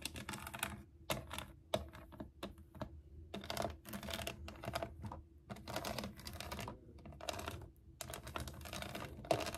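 Long acrylic nails tap and scratch the ridged, piñata-style sides of a hollow, shoebox-sized plastic toy case shaped like a unicorn, with a pink saddle and a handle. Bursts of bright, dry scratching alternate with quick, crisp taps that carry a faint hollow ring near 660 Hz and die away almost at once. The short pauses in between are nearly silent.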